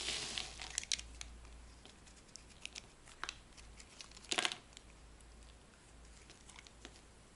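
A metal blade scrapes a dry, white, rectangular solid soap bar held in the palm, giving quiet, bright, crisp crackling and scratchy clicks. A longer, louder scrape bursts out partway through over a faint low hum.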